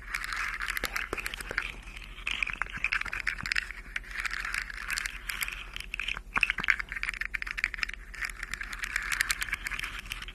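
Long nails scratch and tap along a rainbow plastic articulated fidget slug toy with hollow jointed segments, making its segments rattle and click. The result is a steady, bright scratchy rustle, dense with quick sharp clicks and ticks.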